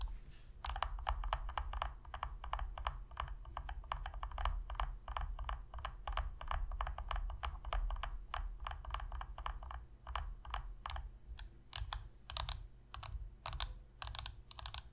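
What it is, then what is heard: Plastic game controller tapped with fingernails. Long pink nails tap rapidly on the top shell and buttons of a hollow black plastic Sony PS3 controller resting on a surface. The result is a dense run of short, bright plastic clicks over a steady low hum. The taps spread out and grow sharper toward the end.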